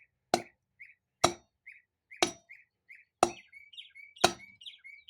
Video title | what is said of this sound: Part 2.Overhaul low and reverse piston and install parking paw 4L60E | Can hear that solid metallic sound. means it's in.